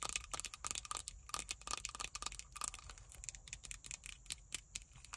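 Long white acrylic nails tap and scratch a small, hollow, pocket-size plastic hand sanitizer bottle filled with pink gel and fitted with a pale pink cap/holder, held up close. Quick, quiet, bright clicks and dry scratching come in a dense, uneven stream with a faint hollow plastic tone near 1.2 kHz. Each tap dies away almost instantly.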